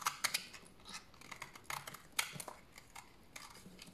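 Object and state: Dry bar soap shaved with a blade.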